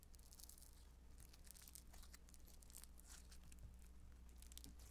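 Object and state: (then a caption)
Foam modeling dough. Blue beaded Play-Doh Foam modeling dough, soft and solid, is pinched, torn into small pieces and squeezed with fingertips and long nails. Quiet, continuous bright crackling and crunchy tearing sounds run throughout over a steady low hum.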